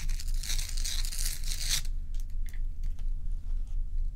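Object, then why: Large block of ice. Long acrylic nails scratch and tap the sides and top of a large, solid, bowl-shaped block of ice, with loose ice cubes sitting untouched at the edge. A bright, hissing scrape fills the first couple of seconds, then gives way to sparse, crisp taps. A steady low hum runs underneath throughout.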